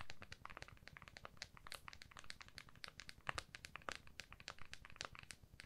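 Long fingernails on both hands tap and scratch the back of an iPhone in a clear plastic case, which is held flat. It makes a quiet, rapid, uneven run of sharp, bright plastic clicks mixed with dry, crinkly scratching. Each tap dies away almost instantly.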